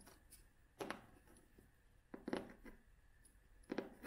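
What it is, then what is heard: Cloth-covered hardcover book. A vintage cloth-covered hardcover book, held upright, has its cover tapped and scratched with long fingernails. Soft, dry taps and brief scratchy brushes come in short clusters over a quiet background, with a muted midrange tone and almost no ring after each touch.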